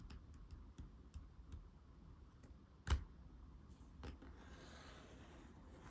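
Fingernails tap and scratch the back cover of a thick laminated cardboard board book with soft, dull clicks and faint scraping. The book is then turned over with one louder thump, and fingertips tap its glossy front cover in quiet, muted pats.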